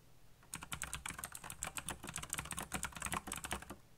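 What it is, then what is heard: Plastic mechanical keyboard. Fingertips rapidly tap the keycaps of a backlit black plastic mechanical keyboard after a brief quiet start. About 19 quick, dry, clacky keystrokes follow, each with a bright, high click and a soft low thud that dies away almost instantly.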